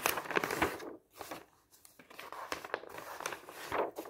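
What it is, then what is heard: Glossy paper brochure, pages turned. Fingertips wearing rings lift and turn the pages of a large glossy paper travel brochure, one by one, as it lies open on a table. Soft, crisp rustles and crinkly flips come at an uneven pace, with a brief quiet gap before the page turning resumes.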